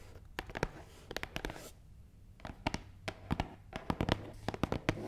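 Long nails tap and scratch across the top of a long, hollow, black matte cardboard box. Sharp, dry clicks land in quick irregular bursts over a soft scratching texture, each tap dying away almost instantly against a low steady hum.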